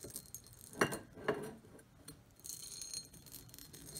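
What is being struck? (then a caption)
Cut glass bowl. Long nails scratch and tap the textured surface of an empty, medium-sized, shallow patterned cut glass bowl, and hands hold its rim at the end. Two louder, brighter glassy taps ring briefly among quiet clicks. A high, steady scratching hiss follows in the second half.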